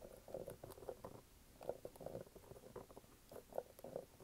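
Fingernails scratch and tap the brown waffle rubber outsole of a red canvas sneaker held vertically. Quiet, dull, muffled taps with a hollow midrange tone stand out over a soft, continuous scratchy rubbing. Each tap dies away almost instantly.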